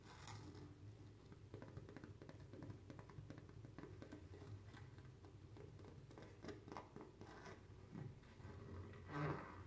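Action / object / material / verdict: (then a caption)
scrape / padded nylon fabric pouch / nylon fabric / none. A medium-sized, padded, teal nylon/polyester zippered pouch, hollow and soft-sided, is held up close and scratched and tapped across its textured surface with long manicured fingernails. The result is a steady, dense stream of soft, muffled scratching and light tapping, mostly low and dull in tone, with a louder rustling burst near the end.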